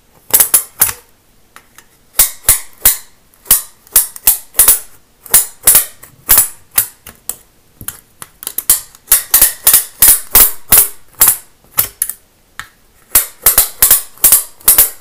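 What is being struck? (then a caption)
Plastic building-block baseplate with studs. A thin, flat green plastic Lego baseplate with studs is held upright in one hand and rapidly scratched and tapped across its studs with a pen-like tool. The result is a fast series of sharp, bright, clicky snaps in uneven bursts, each decaying quickly, with short quiet gaps between the clusters.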